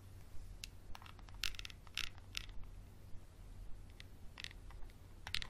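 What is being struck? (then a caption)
Small textured glass bottle. A small clear textured glass bottle with a label and dark cap is held close and scratched with a wooden pencil. Irregular, short, bright scratching clicks stand out above a steady low hum.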